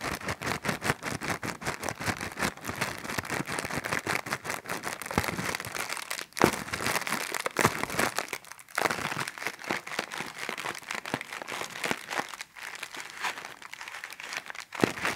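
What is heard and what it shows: A small, thin, clear plastic bag with a blue print, hollow and empty, is held in both hands while fingertips and long nails crinkle and squeeze it. A dense, bright crackling of rapid crinkles runs throughout, briefly dipping quiet around 6, 9 and 12.5 seconds before resuming.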